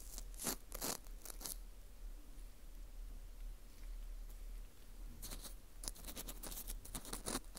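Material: Dried wheat gluten.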